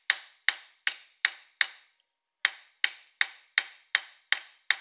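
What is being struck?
Thin copper dish on a steel stake.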